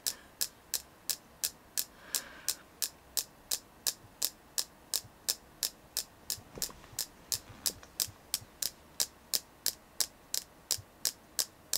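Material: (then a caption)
Selenite. Steady tapping on a selenite crystal, about 35 short, bright clicks at a fairly even pace of nearly three per second. Each tap is crisp with almost no ring, set over a faint low background hum.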